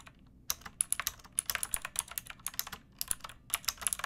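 Long nails and fingertips type on a backlit pink mechanical keyboard with round plastic keycaps and a hollow plastic case. About twenty quick, bright clicks sound in uneven bursts, each dying away almost at once over a quiet background.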